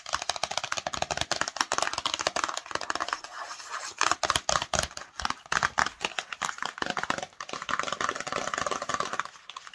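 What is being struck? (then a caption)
Small printed cardboard box. Long nails rapidly scratch and tap the printed surface of a small, hollow, patterned cardboard Cosmo cosmetics box. The result is a dense, continuous stream of dry, papery scratches and quick taps that die away almost instantly. The sound centres in the midrange with a bright, hissy edge and almost no low end.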